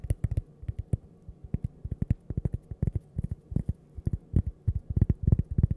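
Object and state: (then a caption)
Cork coaster. A thin, flat, solid toast-shaped cork coaster held up close to the microphone is tapped and scratched with long purple-painted nails. The result is a quick, irregular run of dull, muffled low thuds that stop dead with no ring, with faint scratchy ticks in between.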